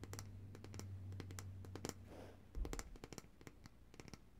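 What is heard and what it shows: Long, dark-painted nails tap and scratch the glass sides and paper label of a large glass jar of coconut oil, full of white solid oil and held upright in both hands. Quick, bright clicky taps come in an irregular run, with a brief scratching sweep in the middle, over a steady low hum.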